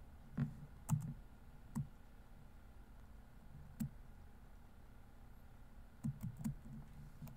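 Fingertips tap the plastic keys of a laptop keyboard, producing eight short, clicky keystrokes spread unevenly across the clip. Each keystroke is a soft, low, muffled tap with a faint bright tick that dies away almost at once. Quiet pauses of steady low background noise separate the keystrokes.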